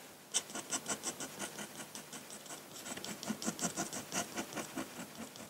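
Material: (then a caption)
Paper. A metal dip-pen nib in a wooden holder scratches across a large flat sheet of white drawing paper in continuous short drawing strokes. The strokes come as a quick, uneven run of about twenty bright, dry scratches over a faint hiss, each dying away almost at once.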